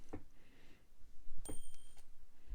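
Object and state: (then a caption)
Genuine gold bar, clear ring. A 20 gram gold bar is tapped and flicked, giving short clicks followed by a sweet, clear, high ring that holds steady for about half a second, with a lower tone near 3 kHz underneath. The ring and correct weight mark the bar as genuine, since a fake would not ring like that.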